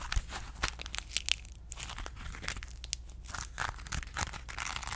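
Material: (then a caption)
Aluminum foil. A small crumpled ball of aluminum foil held in the fingers is scratched, squeezed and crinkled with long nails. Dense, bright crackling and crinkling fills the clip, with sharp snaps that stop almost instantly, over a steady low rumble. The sound stays fairly quiet and close throughout.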